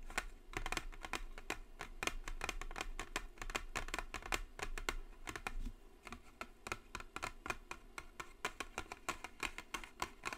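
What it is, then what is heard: Cardboard box tapped with fingernails. Long nails tap the top of a white Jisen cardboard brush set box in a quick, continuous run. Each tap is a dry, sharp click that stops almost at once, with a low steady hum underneath throughout.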